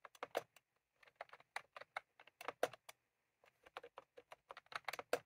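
Fingertips of both hands type on a white/cream plastic retro computer keyboard with round typewriter-style keycaps, resting on a desk. Short, crisp clicks come in irregular bursts, with a brief pause near the middle, and each keystroke dies away almost at once.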